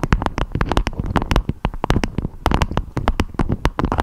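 A beeswax-coated fabric food wrap with a strawberry print, shaped into a dome, is tapped and scratched with long acrylic nails. Many quick, dry taps and clicks sound close together, with short bright snaps over a soft, low, crinkly thud and rustling scratches in between.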